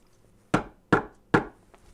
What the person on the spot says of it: I'm banging it, look. That sounds like wood to me.